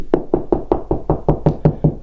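Eleven evenly spaced knocks on drywall, made while locating the studs, each a short, low, hollow thump that dies away quickly. The hollow sound shows this spot is between studs, with no stud behind it.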